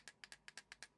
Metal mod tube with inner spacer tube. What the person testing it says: that's actually that spacer tube making contact with the top